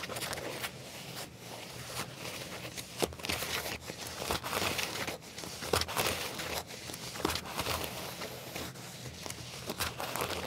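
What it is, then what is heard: Leather trousers scratched. Fingernails scratch black leather trousers near the back pocket, giving a steady run of dry, bright scratching and crinkling strokes with soft, brief taps between them. The sound stays close and quiet, with most of its energy in the high range.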